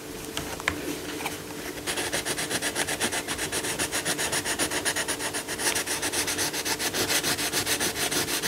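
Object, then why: Coloured pencil rubbing on a paper colouring book page. A yellow coloured pencil shades a lion's body and face on a paper colouring book page lying flat, with the other hand holding the page down. After a quiet opening of about two seconds, fast rubbing strokes produce a bright, scratchy, papery hiss in a steady back-and-forth rhythm of about 27 strokes. A faint steady hum sits underneath.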